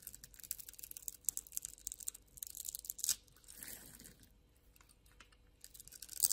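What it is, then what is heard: Soap bar being carved. A metal blade scrapes and scores the surface of a solid, palm-sized rectangular pink bar of soap held in one hand, shaving off thin flakes. Quick, crisp, bright scraping and crunching strokes come in rapid bursts, with a sharper scrape near the middle, a softer, smoother drawn-out shave after it, and then the crisp strokes return.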